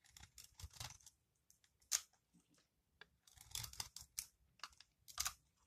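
A metal utility-knife blade scrapes and cuts flaky shavings from a palm-sized, solid, dry recycled soap ball with a purple crust and green core. The sound is a series of short, crisp, bright scraping crunches with quick decays and brief quiet gaps between strokes.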